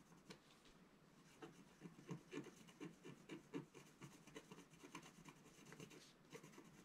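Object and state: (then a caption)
Scratch art paper sheet. A wooden stylus scratches the top right of a flat black coated scratch-art paper sheet lying on a table. Quiet, irregular rasping strokes come in short bursts, each with a dry, brief scrape and no ring.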